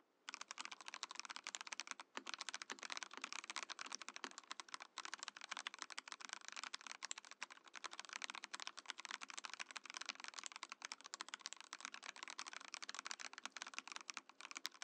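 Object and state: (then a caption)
Mechanical keyboard in acrylic case. A compact Mojo68 Mojopad mechanical keyboard in a transparent acrylic case with cream and orange plastic keycaps is typed on steadily with the fingertips of both hands. Quick, bright clacking keystrokes run continuously, each dying almost instantly, with no low rumble and a brief pause near the two-second mark.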